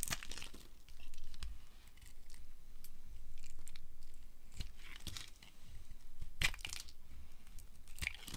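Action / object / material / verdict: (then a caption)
scrape / bar of soap carved with a knife / soap / none. A small black-handled knife scrapes and carves a solid amber dry soap bar held in the hand, and crunchy shavings fall off. Irregular, crisp scraping and crunching strokes come in quick bursts with bright crackling edges over a soft low rumble.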